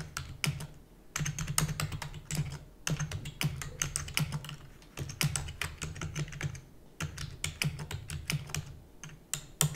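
Fingertips with long natural nails type rapidly on a full-size black plastic computer keyboard with plastic keys and a hollow housing. Quick bursts of sharp, bright clicks and clacks come with short pauses between them, and each keystroke dies away almost at once. A steady low hum runs underneath throughout.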